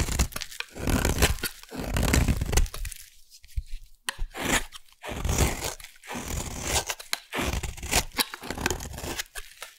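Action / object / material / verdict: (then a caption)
scrape / bar of soap cut with a metal blade / soap / none. A metal blade carves a solid orange bar of soap into curled shavings, making a series of dry, crunchy scraping and tearing strokes with brief pauses between them. Each stroke has a heavy low rasp under a bright crackle.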